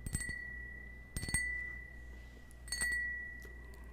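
A small, hollow, empty cut-crystal stemmed wine glass, held in the hand, is tapped with fingernails in three quick bursts of clicks. Each burst sets off a clear, bell-like ring near 2 kHz with bright overtones. The tone sustains and slowly fades between bursts.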